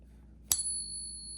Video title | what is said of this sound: Fake $5k Gold Coin Ruined Her Stack! Father Scammed Out of $1,000's!🔥🚨 | the resonation on real silver, it's still going. It's still going.